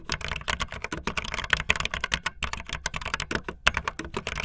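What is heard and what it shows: Fingertips with long nails type fast on a backlit optical linear plastic mechanical keyboard with white and blue plastic keycaps. The result is a rapid, uneven run of sharp, bright plastic clacks, each dying away almost instantly, with a light, thin low end.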